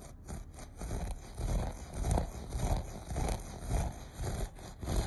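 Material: Carpet fibre.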